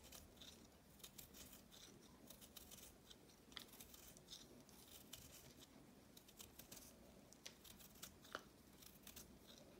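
A knife cuts and scrapes a solid, palm-sized block of reformed pink chalk with green flecks, held in the hand. Many quiet, dry crunches and bright scraping clicks come one after another, sounding like crumbling.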